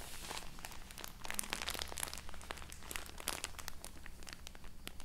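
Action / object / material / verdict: scrape / cotton wool roll in thin plastic wrap / plastic film / none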